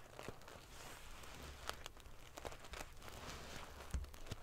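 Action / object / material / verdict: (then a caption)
scrape / pillow covered in small metal sequins / metal sequins / none. Curled fingers with long nails ruffle the metal pieces of a silver metal paillette, sequin-covered pillow against the grain. The result is a continuous, quiet, prickly, crinkling rustle over a low rumble, broken by sharp, bright ticks and scrapes as the metal pieces flip against each other.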